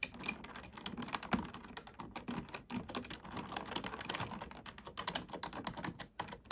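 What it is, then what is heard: Plastic computer keyboard. A black plastic computer keyboard is typed on with both hands, using fingertips and nails. Fast, steady clicks and clacks run continuously, with a bright, crisp edge and short, dry decays.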